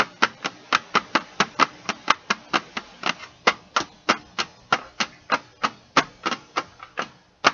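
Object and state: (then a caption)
Metal pencil tin. Fingertips and nails tap and scratch the printed lid of a flat, closed, hollow Stabilo CarbOthello metal pencil tin, about A4 size, lying on carpet. About 26 quick, separate taps form a steady rhythm, each a sharp, bright metallic click with a tone near 1.2 kHz that dies away almost instantly, with almost no low end.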